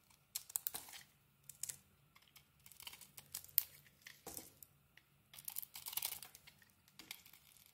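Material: Soap.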